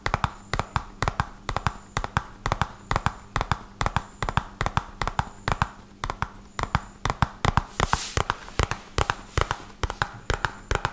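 A small, hollow red-and-white printed cardboard medicine box is held up and tapped quickly with fingertips and short nails, producing dozens of dry, short taps with a hollow low thump and crisp nail clicks. The taps come in fast, uneven bursts over a faint steady low hum, with a brief bright brushing hiss around the eight-second mark.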